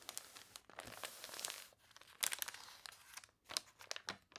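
Long nails scratch and press the water-wrinkled pages of a thick, glossy paper toy catalog lying open on a table, and one page is turned. The result is quiet, bright crinkling and crunching, with sharp crackles and a soft scraping swish in between.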